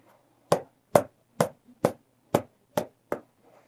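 A leather water bottle is tapped repeatedly to knock out the popcorn inside, giving seven short, dry thuds at a steady pace with a hollow mid-pitched tone and almost no ring. The tapping continues until no more popcorn comes out.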